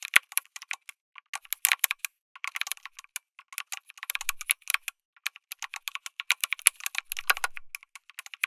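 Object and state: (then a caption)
Mechanical keyboard with plastic keycaps. Fingertips type continuously on a backlit mechanical keyboard with plastic keycaps, an FR4 plate and tactile switches. Rapid, bright, short clicky keystrokes come in uneven bursts with brief pauses, and each strike dies away almost instantly with little low end.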